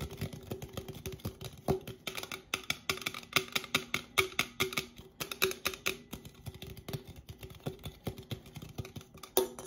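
A red Coca-Cola aluminum drink can, a standard 12 oz hollow cylinder, is held upright in both hands and tapped rapidly on its sides with fingertips and painted nails. The result is a fast, irregular stream of crisp, bright clicks and taps, each carrying a short metallic ring around 380 Hz that dies away almost at once.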